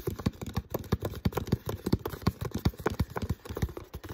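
Fingertips tap and scratch the thin plastic body near the neck of an empty, uncapped, hollow clear PET water bottle. About 25 quick, dull, hollow thumps sit mostly in the low range with very short ring, mixed with faint scratching between taps over about four seconds.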